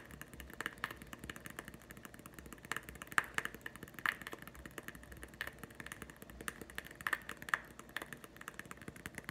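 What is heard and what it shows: Fast fingertip and nail tapping on a small green hollow plastic putty egg held in one hand, tapped with the other hand. The quick, dense taps are short and dry, with a hollow plastic click that rings around 1.8 kHz over a faint background hiss.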